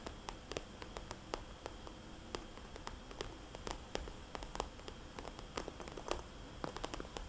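A fingernail taps on and traces the dots of a small, red polka-dot glossy plastic cosmetics bag held upright as a hollow pouch. Quiet, sharp, bright clicks come in irregular bursts over soft scratchy rustling. A faint low hum runs underneath.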